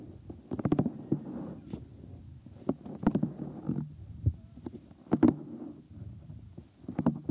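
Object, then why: Silicone ear of a binaural microphone. Bare thumbs rub and press along the rim and lobe of the white silicone ear molds on a 3Dio binaural microphone. The result is close, muffled low rumbling and soft rubbing, broken by sharp crackling pops that flare bright.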